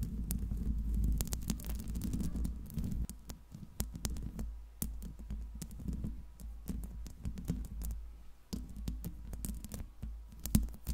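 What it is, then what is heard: Metal microphone mesh grille, tapped and scratched. Long pink acrylic nails on both hands scratch and tap the hollow metal mesh grille of a silver Blue Yeti microphone. Dense, rapid clicks and taps ride over a deep, throbbing low rumble and scratchy rustling, with brief quieter gaps between bursts.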